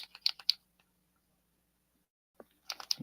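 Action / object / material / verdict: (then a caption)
shake / acrylic paint pen with mixing ball / plastic / none. A Posca acrylic paint pen is shaken to mix the paint, giving quick bright rattling clicks in two bursts separated by a pause of about two seconds. The clicks are sharp and high with almost no ring.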